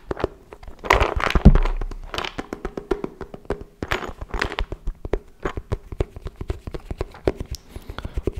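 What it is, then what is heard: Wooden folding chess board. A small folded wooden chess board with a checkered inlay, its hollow box-like case held upright near the microphone, is tapped with fingertips and nails. Many quick, hollow wooden knocks follow in an uneven rhythm, deep and woody with short decay, and some brushier, scraping touches stand out near the start.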